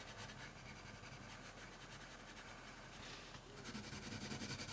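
A red colored pencil shades steadily across a thin paper coloring sheet lying on a wooden table, making a soft, continuous rubbing and scratching with a bright, hissy texture. Near the end the strokes turn louder and more distinctly rhythmic, with quick back-and-forth scratches.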